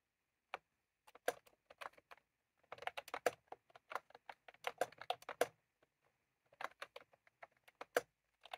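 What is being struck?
Plastic mechanical keyboard.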